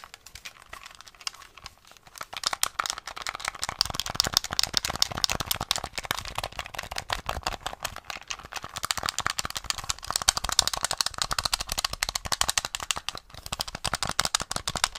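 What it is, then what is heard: Plastic game controller. A small, hollow grey plastic SNES gamepad with coloured buttons is held in both hands while fingertips and nails rapidly press and tap its buttons, d-pad and shell. The result is a fast, dense stream of sharp, dry plastic clicks and taps, bright and thin with almost no low end. The clicking starts softer and sparser, then becomes busier and louder after about two seconds.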